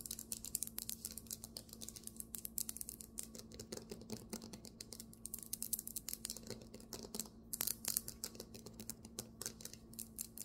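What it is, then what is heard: Marble table top. Fingernails tap quickly on a marble table top, making dense, bright, clicky taps that stop short with almost no ring. A steady low hum sits underneath the whole time.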